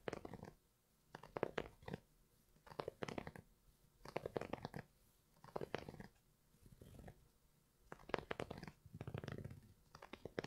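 Fingertips and nails scratch across the knit upper of an empty grey Primeknit textile Yeezy 350 V2 sneaker held up in the air. Short bursts of dry, crackling scratches come in clusters separated by near-silent pauses, with a soft, mostly mid-range rasp.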